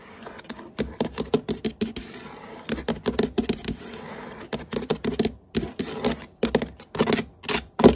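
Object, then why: Hardwood floorboards. Long painted nails and the fingertips of both hands tap and scurry rapidly across solid hardwood floor boards. Quick runs of short, dry midrange clicks and taps stop almost instantly, and softer scratchy scurrying fills the brief stretches between the bursts.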